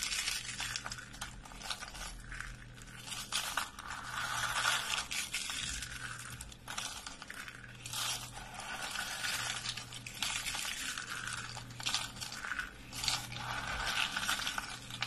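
Dry lavender-purple soap curls are squeezed in a fist and pressed flat with the palm, crushing into flakes. A continuous run of dense, bright crunching and crackling scrapes rises and falls in uneven bursts over a faint low hum.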